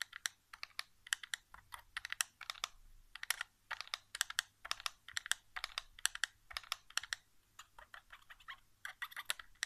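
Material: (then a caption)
Plastic. Fingertips rapidly tap and drum on the back casing of a white plastic PS4 controller lying face down on carpet, its hollow shell answering each touch. The result is a quick, irregular stream of short, dry, bright clicks in bursts and flurries, each dying away instantly with no ring.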